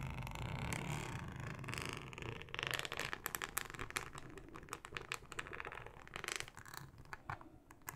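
Long acrylic nails scratch across a thin, flexible, solid yellow plastic cutting mat with a ribbed texture. The result is a dense run of quick, dry scraping strokes with bright, crackly clicks over a low rumble.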